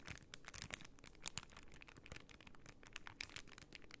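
A plastic pearl sticker sheet in a clear plastic bag is bent and crinkled in both hands while long nails scratch its surface. It makes quiet, steady crinkling with many dense, bright, short crackles and scratches, including one sharper snap near 1.4 seconds.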